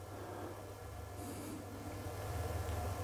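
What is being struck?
Nothing is struck.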